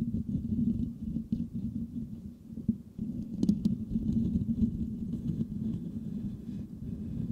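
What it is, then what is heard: Metal microphone grille being scratched. A white microphone's metal mesh grille is scratched with the nails and fingertips of both hands. The sound is a dense, close, muffled rasping and scraping with a low hum-like body around 200 Hz. There are occasional sharper clicks and swells throughout.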